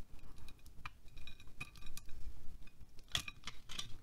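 A utility knife blade scrapes and carves shavings from a solid green wax pillar candle, about hand-sized, held in one hand over a glass plate. Quiet, repeated short scraping strokes with bright, scratchy edges rise over a low, soft rumble.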